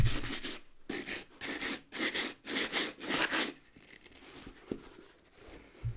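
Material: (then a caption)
Rubber. A wooden-backed bristle brush scrubs the rubber lug sole of a hollow, empty brown leather ankle boot held in one hand. It makes a run of quick, bright, scratchy brushing strokes with a bristly hiss, then quieter rubbing and rustling as the scrubbing eases off.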